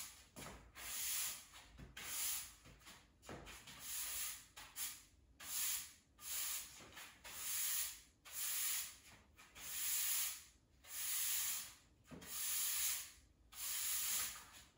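A plastic-bristle push broom sweeps a large, solid, bare cement floor near a radiator, its head staying on the floor throughout. Repeated rubbing and scraping strokes make bright, hissing bursts with short pauses between them, at a fairly steady but uneven rhythm.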